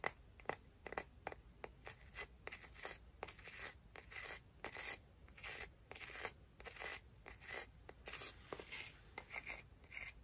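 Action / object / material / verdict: scrape / clam shell / shell / none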